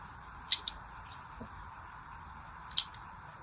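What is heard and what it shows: A small pointed blade scores shallow lines into the surface of a solid, hand-sized pink soap bar held in one hand. Four short, bright, crisp ticks come in two pairs, about two seconds apart, with fainter scratches between them. They sit over a quiet, steady hiss.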